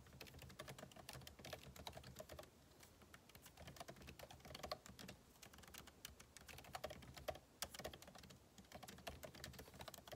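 Two hands type continuously with their fingertips on a backlit MacBook Pro laptop keyboard, whose plastic keycaps sit in a hollow aluminum case. The result is a steady stream of quick, dry key taps, each clicking briefly with a bright edge, rising and falling in bursts with short lulls between.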